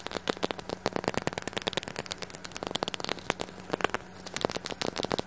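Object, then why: Small glass perfume bottle with metal cap. Fingernails rapidly tap and scratch a small, round clear glass perfume bottle with a gold metal cap and some pink liquid inside, held in the hand. Quick, bright clicks and ticks with almost no ring come in a fast, uneven stream over faint crackly scratching.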